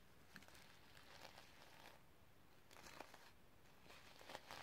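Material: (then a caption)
Sequins. Long red nails scratch and brush across the sequin fabric cover of a notebook. The sound is quiet, with soft, crinkly scratching and bright rustling that comes in uneven bursts over a low, steady background hum.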